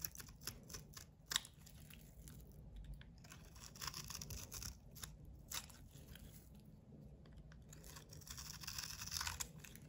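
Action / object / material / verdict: scrape / coated soap bar / soap / none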